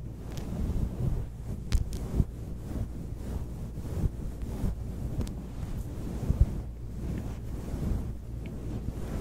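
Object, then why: Synthetic fur microphone windscreen. A soft, grey, fluffy synthetic-fur microphone windscreen is rubbed, squeezed and plucked with long acrylic nails and the fingertips of both hands. The result is a steady, muffled, deep rumbling rustle, broken by a few brief, sharper taps and plucks.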